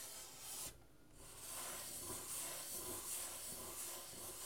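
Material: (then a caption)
Wood. Fingers and nails scratch and rub across the painted soundboard of a half guitar, near the bridge, on its thin hollow wooden body. The result is a steady, bright, hissy rasp with faint low thumps from the hollow body, broken by a short quieter pause early on before the scratching resumes.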